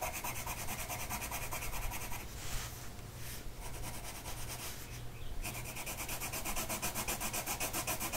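A blue colored pencil tip is rubbed across a flat printed mandala coloring sheet of paper on a table, held in place by one hand. Steady, rapid back-and-forth scratchy strokes fill the clip, turning into a brighter, hissier scrape in the middle before returning to evenly pulsing strokes, over a faint low hum.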